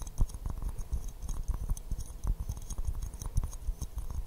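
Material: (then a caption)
Porcelain. Fingernails tap and scratch an empty white porcelain teacup with a pink rose print, held upside down in both hands. A steady stream of quick, soft, dull taps and light scratches mixes with brief high clicks, each tap dying away almost at once.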